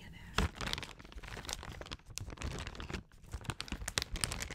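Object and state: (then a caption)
Plastic cough drop bag. A large, printed plastic Equate cough drop bag, partly full, is held in both hands and crinkled and scratched with long acrylic nails. The result is a steady, quiet stream of crackling crinkles and rustles, dotted with sharp, bright clicks and scrapes over a soft low rumble of handling.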